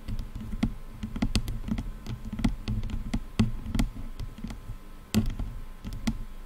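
Long nails tap and scratch along the top of a black plastic headphone headband. Quick, irregular taps land in a dense run over a soft, continuous scratching texture, each one a dull low knock topped by a brief bright click that dies away almost instantly.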